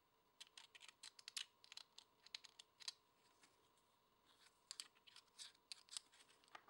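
A single small, solid white embossed plastic poker chip is held in the hand and scratched and rubbed with long painted nails and fingertips, with a chip caddy in the background. Quick, bright, dry ticks and scratches come in two busy clusters separated by a quieter pause, each sound dying away almost instantly.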